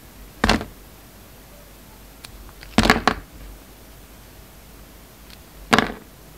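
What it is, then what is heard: Soap bar being cut. A steel utility-knife blade shaves and cuts slices off a solid, hand-sized oval purple soap bar with a glitter stripe, held in the palm. Short, crisp scraping cuts come in separate bursts, with brief bright rasps and soft crumbly ticks between them against a quiet background.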